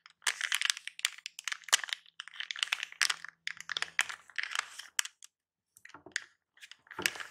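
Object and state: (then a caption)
Plastic anti-static bag. A small silver plastic anti-static bag wrapped around a battery is held in both hands and crinkled and squeezed with the fingertips. Dense, bright crinkling crackles come in rapid bursts with short gaps, with almost no low end and no ring after each crackle.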